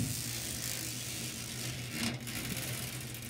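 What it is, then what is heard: Metal mesh panel. Long nails scratch and rub across a white perforated expanded metal mesh panel set in a frame. The result is a steady, bright scratchy rasp over a low hum, with a brief louder scrape near the two-second mark.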